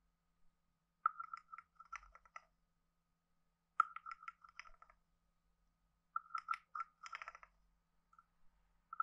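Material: Wood.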